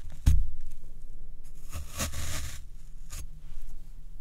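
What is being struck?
Floral foam block.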